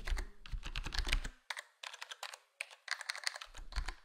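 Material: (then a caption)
Plastic. A black plastic HyperX Alloy Core gaming keyboard, full-size with square plastic keycaps and a foam-dampened case, is tapped by fingertips. Soft, muted clacks come as rapid typing at first, then a few separated single presses, then typing again. A low thump sits under the busier stretches, and the bright clicky tops fade fast.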